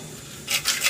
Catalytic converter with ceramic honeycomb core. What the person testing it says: you hear those pieces broken up inside like that